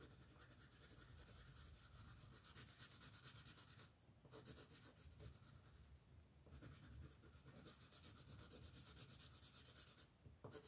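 A light green wooden colored pencil is rubbed in firm strokes across a paper coloring book page lying on a table, shading a dragon's wing while the other hand, with long nails, holds the page. A steady, rhythmic scratchy rubbing with a low rumble underneath and bright grainy texture continues throughout, dipping briefly around 4, 6.5 and 10 seconds before the strokes resume.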